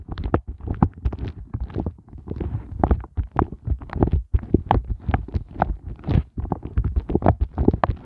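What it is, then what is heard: Silicone heart ice cube mold. Both hands tap and scratch the raised hollow hearts of a pink, soft silicone heart ice cube mold tray with nails and fingertips. The result is a dense, rapid stream of soft, low, muffled thuds mixed with short, scratchy crackles. Each sound dies away almost instantly, with brief pauses around 2, 4.3 and 6.3 seconds.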